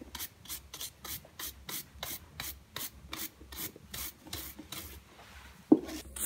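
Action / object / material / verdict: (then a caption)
scrape / leather high-heel pump brushed with a bristle brush / leather / none. A silver-grey textured metallic leather pointed high-heel pump, a hollow shoe worn on the foot, is held in one hand and rubbed with a wooden-backed bristle shoe brush in brisk back-and-forth strokes. About sixteen quick, bright, raspy brushing swishes are heard in a steady rhythm, then the strokes fade and a single sharp knock sounds near the end.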